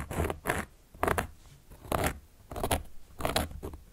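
A carving tool, held upright by long nails, traces and scratches across the surface of a large, round, solid cork board. The clip is a series of dry, rasping scratch strokes, each a short broadband burst with a low, papery body and a bright edge, separated by quiet gaps.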